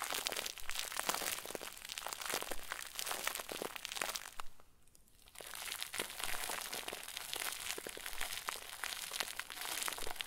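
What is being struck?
Plastic bag stuffed into a ball.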